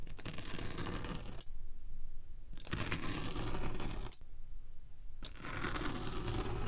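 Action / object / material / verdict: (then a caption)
scrape / packed kinetic sand block / kinetic sand / none. A steel pinwheel roller is rolled across the top of a solid, packed, rectangular purple kinetic sand slab resting on a white surface, pricking and scratching it. Three passes of dense, crunchy scratching with a bright hiss are separated by quieter stretches holding only a low rumble.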